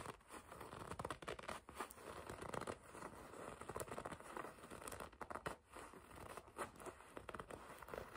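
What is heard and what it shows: Long red nails grip and scratch the black leather panel of a black and red leather racing jacket. Soft, dry scratching and crinkly gripping sounds come in quick, uneven bursts throughout, with a faint steady hiss underneath.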